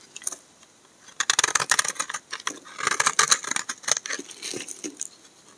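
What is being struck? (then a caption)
Bar of soap cut with a knife blade. A solid, dry, cream-colored bar of soap held in the hand is scraped and cut with a utility knife blade, and the shavings fall onto a pile of soap flakes. The scraping makes rapid, bright, crisp scratching bursts with many quick dry crackles and almost no low end. After a quiet first second, the bursts come in dense clusters.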